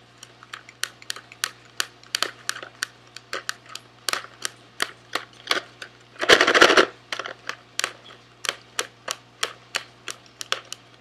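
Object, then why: Small cardboard candy box. A small sealed SweetTarts cardboard box, hollow with candy inside, is held in both hands and rapidly tapped with fingernails. Sharp, bright, dry clicks come at an uneven pace of about three per second, with a denser half-second flurry of clicking just past the middle. A faint steady low hum runs underneath throughout.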